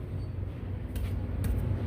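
Taps on the metal catalytic converters under a 2015 Ford 3.5L Ecoboost, checking whether they rattle. Three short, dull, low knocks sound over a steady low rumble, with no rattling like marbles or rice inside. The converters are solid and intact, so only the O2 sensor is replaced.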